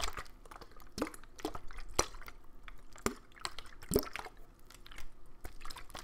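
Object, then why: Thin plastic water bottle with water inside. A clear, thin plastic water bottle with a green cap, partly filled with water, is handled and shaken. The thin plastic gives off a run of sharp crinkling clicks and crackles, with the water sloshing softly inside. The sounds come in short, quiet bursts that fade almost instantly.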